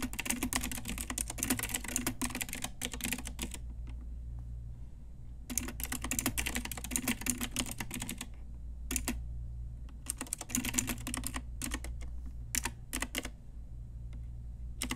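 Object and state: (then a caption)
Plastic mechanical keyboard. Long nails and fingertips type on a pink Ajazz retro typewriter-style mechanical keyboard with round plastic keycaps, making bursts of rapid, bright plastic clicks. Fast runs of typing break off into short pauses and a few isolated taps, over a steady low hum.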